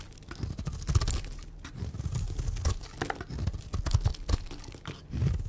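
A white rectangular bar of dry soap, held in the hand, is shaved into flakes with a utility knife blade. A steady run of short, dry scraping and crunching strokes sounds with muffled low thumps, each stroke stopping almost instantly.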